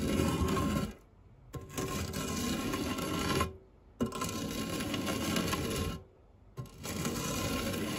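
A white silicone spatula scrapes and rubs across the textured base of a round, dark non-stick metal fluted tart tin holding a pile of cake crumbs. Four long, gritty scraping passes are separated by short quiet gaps, with a faint steady high tone running through each pass.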